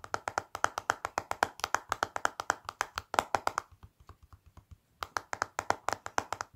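Fingertips and long black nails tap quickly across the clear plastic lid of a small, flat Revlon lip powder palette in a black plastic case, lying on a white surface. About 38 crisp, dry, clicky taps come in a rapid run with a hollow midrange knock and bright edges. They fade to a soft, muted stretch in the middle, then briefly go silent before loud tapping resumes.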